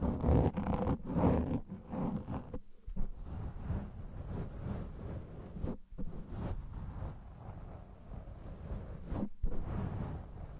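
A black foam microphone windscreen is scratched with the fingertips and nails of both hands, producing dense, low, rumbling scrapes and rustles. The scratching comes in uneven bursts with a few brief pauses, and the sound is dull and muffled with almost no bright content.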